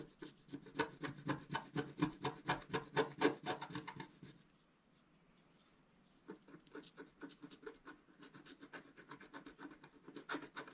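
A wooden stylus scratches a flat black coated scratch-art card in short, repeated strokes near a planet motif, producing dry, raspy scrapes at about four strokes per second. The scraping stops for roughly two seconds in the middle, then resumes more softly and continues to the end.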